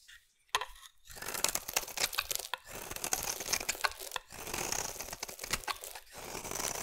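A metal utility blade scrapes a solid pink bar of soap into shavings. After a brief silence, a sharp cut starts a run of dry, bright scraping and crackling strokes that sound like tearing. The strokes rise and fall in loudness with little low end and almost no ring.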